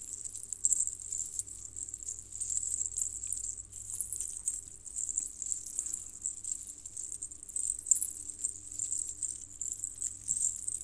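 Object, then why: Small metal jingle bells on a cord. Loose strands of a small, hollow, colored metal jingle bell necklace on a red cord are lifted and twisted by fingers with long painted nails. The bells clink and jangle together in a continuous, bright, high-pitched shimmer of quick metallic taps with very short ring. A faint low hum sits underneath throughout.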